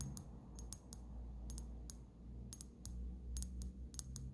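Long natural fingernails tap the glass sides and neck of a small brown amber glass dropper bottle with a black dropper cap and paper label, partly filled with liquid and held close. The result is a run of quick, bright, dry clicking taps that die away almost instantly, over a steady low rumble.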